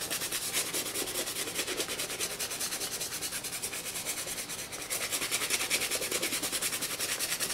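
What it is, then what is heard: Leather sneaker scrubbed with a brush. A toothbrush vigorously scrubs the lathered side panels of a hollow black and green leather high-top sneaker lying on its side. Rapid, bright, scratchy brushing strokes repeat in a steady back-and-forth rhythm, with a brief dip in loudness before the scrubbing picks up harder again.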